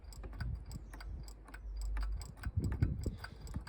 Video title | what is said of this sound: RANGE ROVER L405 5.0 SUPERCHARGED Water Pump Replacement | if you hear a knocking noise, clonk, clonk, clonk, clonk, clonk, clonk, that's what it is